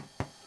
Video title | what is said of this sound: Bread Making by Hand Demonstration | tap the bottom. If it sounds hollow, like that, that's cooked.